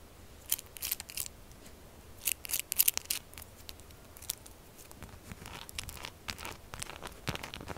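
Long acrylic nails rapidly tap and scratch a tall, solid pink bar of textured soap standing upright. Quick bursts of dry, bright scratching mix with sharp clicks that stop dead with no ring, over a quiet low rumble.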